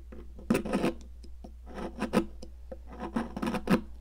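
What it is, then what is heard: Sidewalk chalk being scraped. A metal palette knife scrapes and carves a solid pink popsicle-shaped stick of sidewalk chalk, scattering crumbs. Gritty, rasping scrapes come in short bursts that swell and fade over a steady low hum, with bright crumbly crackle in each stroke.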